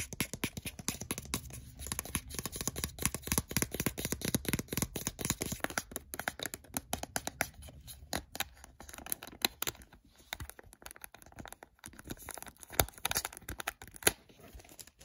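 Fingertips tap and scratch the small, hollow casing of a blue plastic handheld game console held in the hand, working over the shell and glossy screen area near the power button. Rapid, dense clicky taps and bright scratching rustle over a low hum for the first several seconds. The taps then grow sparser and quieter, with a few sharper, louder taps near the end.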